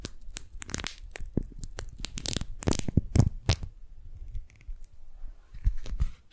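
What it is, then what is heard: Beeswax-coated cotton food wrap. Fingertips and nails peel the stuck, folded layers of a pink strawberry-print, beeswax-coated cotton food wrap apart and crinkle them. The result is a rapid run of sticky tearing and crackling bursts, loud and dense for the first few seconds, then a quieter, sparser stretch before a few more crinkles near the end.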